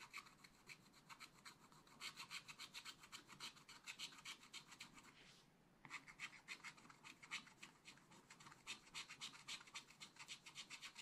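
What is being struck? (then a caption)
Coated scratch-art paper and wooden stylus. A wooden stylus scratches short, quick strokes over the coated areas of a black scratch-art paper page in a small spiral book. It makes a steady train of dry, bright rasping scrapes at a fast, uneven pace, with a brief pause just past the midpoint before the strokes resume.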